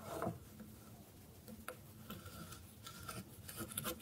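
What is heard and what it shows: A solid bar of dry soap held on a wooden board is scraped repeatedly with a metal blade. Each stroke gives a quiet, dry, raspy scrape with short crisp ticks and bright edges over a low rubbing rustle.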